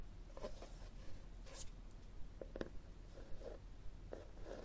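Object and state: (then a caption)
Cloth-covered hardcover book. Long fingernails scratch across the cover of a solid red textured cloth hardcover book held tilted above a table. The result is a quiet, dry scratching made of short, brushy strokes at an uneven pace, with brief brighter rasps over a steady low background rumble.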